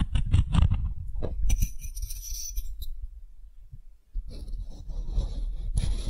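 A solid, light wooden ball held in the hand is rubbed and scraped with the bowl of a wooden spoon. Soft, low, dull knocks and rubbing give way to bursts of bright, dry scraping hiss. A quiet lull follows before the scraping resumes.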